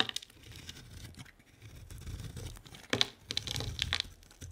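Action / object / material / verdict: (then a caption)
scrape / bar of soap shaved with a blade / soap / none. A solid bar of soap with a pink and white printed coating and a white core is held in the hand and shaved with a utility-knife blade. Soft, dry scraping and crinkly shaving sounds are broken by crisp, bright clicks and snaps, with a sharp peak near 3.5 kHz. The louder cuts come near the end.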